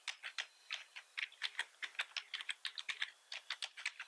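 Both hands tap with their fingertips on a black plastic computer keyboard with red accent keys, producing a quick run of 24 short, bright plastic clicks. Each keystroke is a crisp tick centered around 1.7 kHz that stops almost instantly, with no low end and no lingering ring.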